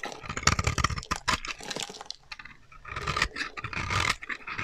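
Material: Soap.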